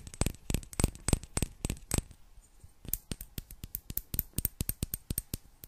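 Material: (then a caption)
Glass. Long black nails tap a small, hollow, clear glass bottle with a gold metal cap, partly filled with water. About thirty quick, sharp taps come in an uneven rhythm, each a short bright click that dies almost at once. A brief pause falls midway before the tapping picks up again.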